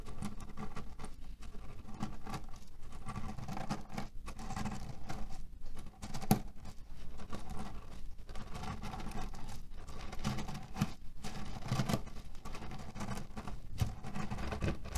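Fingertips rapidly scratch and knead the surface of a cherry-printed cotton pillow filled with cherry pits. The result is a steady, dense patter of soft, low-heavy clicks and rustles as the pits shift inside the fabric, with a few slightly sharper ticks poking through.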